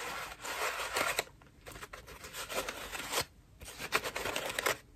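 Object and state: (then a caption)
Foam loofah being scratched. A cream foam bath loofah with a rope loop is squeezed in both hands and scratched with long nails. The result is dry, crackly, bright scratching and rustling in bursts, separated by brief quieter pauses.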